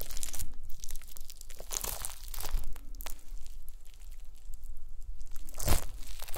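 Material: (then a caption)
Gelatin. A pile of small pink translucent solid gelatin jelly cubes on a white mesh mat is pressed and crushed with the round end of a wooden masher. It gives repeated crunchy, crinkling crushes with bright, noisy bursts over a low rumble. The cubes break apart under the masher.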